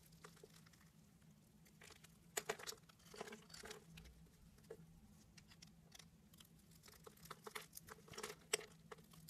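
A knife blade cuts and scrapes diamond-shaped pieces from a pale beige solid bar of soap scored in a diamond grid, and the pieces fall away. Soft, crisp, crumbly scrapes and short bright crunches come in irregular bursts over a faint steady low hum, with a few sharper snaps standing out.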